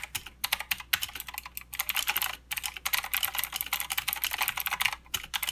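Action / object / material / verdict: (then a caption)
tap / mechanical keyboard with plastic keycaps / plastic / none. Continuous two-handed fingertip typing on a full-size mechanical keyboard with plastic keycaps, clicky blue switches and a backlight, resting on a desk mat. Rapid, bright, crisp clicks with almost no low end and very short decay come in dense bursts separated by brief pauses.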